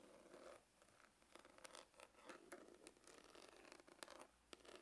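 Fingernails scratch the grained lid of a dark, textured faux-leather hard glasses case, which is hollow. Quiet, dry rasping strokes come in short bursts, with bright, crackly edges over a faint hollow midrange tone.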